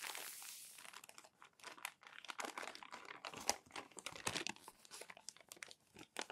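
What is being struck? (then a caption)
Glossy paper magazine pages. Fingertips and palms rub crumpled glossy paper magazine pages flat and flip them. A second of dense, bright crinkling gives way to rapid, sharp crackles and crunches with short quiet gaps. The sound is thin and papery, with almost no low end.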